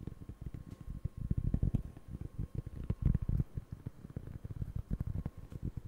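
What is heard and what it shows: Fingertips scratch and rub the granular surface of a round, flat, solid cork board close to the microphone. The result is a dense, uneven run of short, soft, dull taps and scuffs, almost entirely low in pitch, with slightly louder bursts around the middle of the clip.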